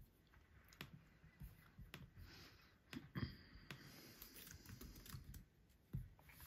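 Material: Plastic.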